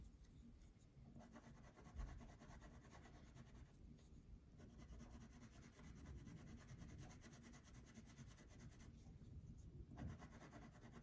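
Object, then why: Wax crayon on a paper sheet. A purple wax crayon colors a thin paper coloring sheet on a table with back-and-forth strokes. The result is a quiet, steady, low scratchy rubbing, and the high hiss of the strokes drops out briefly a few times when they pause.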